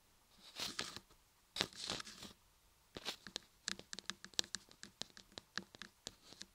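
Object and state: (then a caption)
Solid laundry soap block. Long-nailed fingers of both hands tap and scratch the sides of a solid cream laundry soap block embossed "RAPPELER ASMR" with carved ears on both sides. The clip opens with a few longer scraping strokes, then moves into a quick run of sharp, bright clicks and taps. The sound is dry and crisp with almost no low end and no ring.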